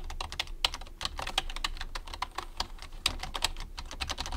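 Fast fingertip typing with both hands on a white plastic computer keyboard produces a rapid, uneven stream of short, bright plastic clicks and taps. Each keystroke dies away almost instantly, over a faint steady low rumble.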